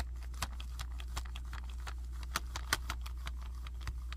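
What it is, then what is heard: Plastic action figure. Fingertips tap and scratch the chest of a hand-sized, hard red-and-black plastic robot/monster action figure with tubes and move its limbs. The result is a quick, irregular run of short, dry clicks and ticks, with a few louder snaps, over a steady low hum.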